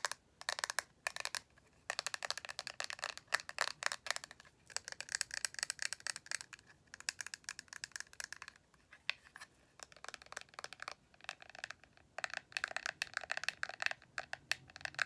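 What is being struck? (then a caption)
Small plastic eyeshadow palette with clear lid. Long acrylic nails tap and scratch quickly on the lid and edges of a small rectangular plastic eyeshadow palette with a clear lid and black base, held in the hands. Bursts of sharp, bright plastic clicks and scratchy rasps come in rapid clusters separated by brief pauses, each tick dying away almost at once with no low-end body.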